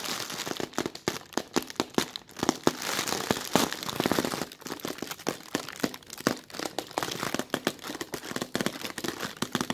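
A thin, soft, translucent plastic film bag is bunched up while fingers with short red nails rub and scratch its creases. A dense run of sharp, crackly crinkles is heard, bright and broadband with very little low end, each snap dying away almost at once.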